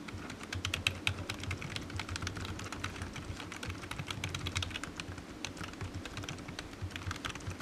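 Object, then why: Plastic computer keyboard. Fingertips type steadily on the hollow keys of a low-profile black plastic computer keyboard resting on a desk mat, making a rapid, continuous stream of light, crisp key taps. Each tap has a bright click over a soft low thud and stops almost at once, with a faint low hum underneath throughout.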